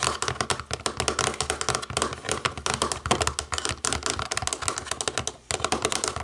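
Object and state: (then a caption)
Plastic remote control. Long nails tap rapidly on the rubber buttons of a small, hollow, black plastic DVD remote control. The result is a dense run of dry, bright clicks with very little ring, broken by a brief pause before the tapping resumes.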